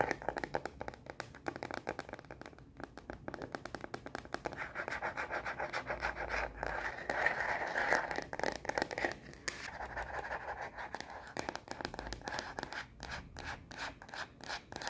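Long nails scratch and tap quickly on the back of a solid, hand-sized frosted plastic phone case with black edges fitted on a smartphone. The result is a fast, irregular stream of dry scrapes and crisp clicks with a mid-range body, swelling into denser scratching midway before breaking back into rapid taps.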